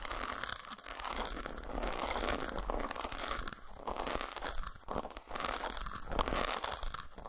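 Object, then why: Solid dark chocolate bar scraped and tapped with fingernails. Long nails scrape and tap across the textured surface of an unwrapped solid dark chocolate bar resting on a towel. The result is a dense, continuous stream of dry, crackly scratching with quick clicky taps, bright and crisp on top with a soft low rumble underneath. It has only brief dips in loudness.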